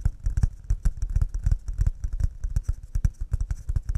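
Cups made of pine wood are tapped quickly and delicately, giving a fast, uneven run of short, dry knocks. Each tap is a brief low thump with a faint bright click on top, and it dies away almost at once.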